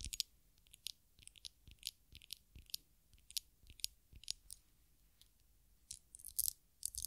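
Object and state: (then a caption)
Glass perfume bottle. Long nails tap and scratch the surface of a small glass perfume bottle, partly filled with amber liquid and topped with a black cap, while it is held in the hands. Quiet, bright, dry ticks and clicks come in irregular bursts with no ring, mixed with soft, high scratchy rasps between short silent gaps.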